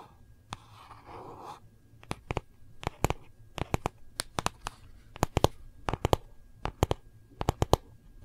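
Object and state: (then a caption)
Hardcover notebook, solid. Long nails tap quickly and scratch across the cover and edges of a small, solid gold-foil hardcover notebook. A soft, rustling scratch comes first, then a string of sharp, dry clicks in quick clusters. Each tap is short and bright and dies away almost at once.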